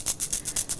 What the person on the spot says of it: 叮当响的声音是珠子到处弹跳